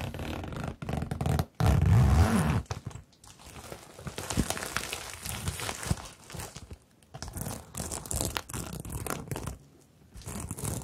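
A medium rainbow bag, hollow and covered in plastic sequins on fabric, is scratched and brushed by long nails and fingertips while bracelets are worn. Dense crinkly, rustling scrapes come in uneven bursts with brief pauses, carrying a low rumble beneath a thin bright sparkle.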